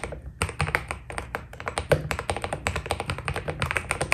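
Fingertips type steadily on a white Keydous NJ80 mechanical keyboard with PBT plastic keycaps. A quick, continuous run of key presses gives short, sharp taps with a bright click on top and a low, rounded thock underneath. Each stroke dies away almost instantly.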